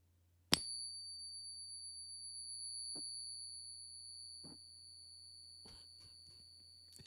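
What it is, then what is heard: Genuine gold coin ringing. A Gold Eagle bullion coin is struck once with a soft stack stick, giving a sharp ping. It rings with a clear high tone plus a fainter overtone higher up, sustaining for over six seconds until the clip ends. The long, steady ring is the resonance expected of a genuine gold coin.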